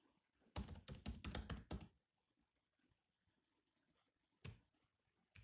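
Bare fingertips of both hands type on the black plastic chiclet keys of a grey laptop, its solid body resting on a desk mat. A quick run of short, dull, low clicks is followed by a pause and two more isolated taps, each dying away almost instantly.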